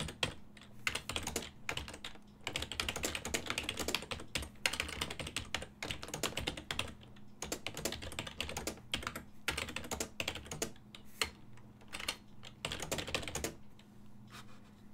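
Fingertips of both hands type on a full-size black and silver plastic desktop keyboard whose keys sit on a hollow body. Bursts of fast, bright, clacky key taps come in runs separated by short pauses, each tap dying away almost instantly over a faint, steady low hum.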